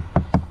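Two knocks on the laminated fiberglass side wall of a Lance 975 truck camper, built with block foam insulation and lauan interior wall panels. Each knock is a short, dull, low thud with little ring. The wall sounds solid, not hollow.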